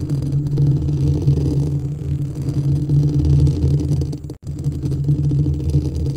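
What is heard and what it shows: Fingertips and nails of both hands scratch and rub the hollow, perforated white metal mesh grille of a white studio microphone. The result is a dense, continuous low rumble with a muffled whirring texture, briefly cutting to near silence about two-thirds of the way through before the rubbing resumes.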